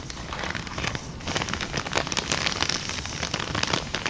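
A small, empty kraft paper bag held upright is tapped, rubbed and crinkled with long dark nails. Dense, bright crackling and rustling runs throughout, with sharp, quick-fading ticks from the nail taps over a steady papery hiss.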